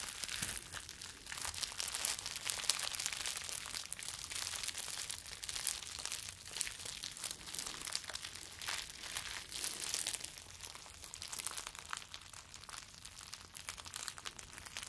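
Rolled clear plastic bubble wrap is held in both hands and crinkled with the fingers. A steady stream of bright, crackly rustling and crinkling runs throughout at a low level, with many short snaps and almost no low end.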